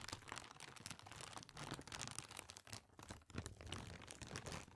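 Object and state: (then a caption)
Thin plastic bag being crumpled. A small, thin, empty, translucent white plastic bag or sheet is held in front of a microphone and crumpled and crinkled with the fingers of both hands. Dense, continuous crackling fills the clip, with bright, crisp rustles over a soft low rumble. The level stays fairly steady apart from a brief dip just past three seconds.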